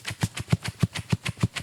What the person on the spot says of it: I'm gently shaking it and you can hear that the books are moving back and forth inside of it